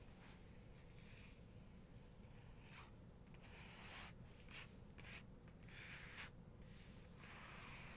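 Long nails and fingertips tap, scratch and rub across the surface of a paper photo book page. Soft, bright papery scraping sweeps come and go over a steady low hum, with a few slightly sharper taps toward the end, all at a quiet level.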